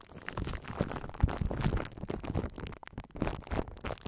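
Long nails and fingertips rub and scratch plastic cling wrap stretched over a metal microphone's hollow mesh grille, crinkling the film against the head. The result is a close, bass-heavy rumble of crackles and sharp scratchy ticks with little high-end sheen, briefly dipping quiet before the crinkling resumes.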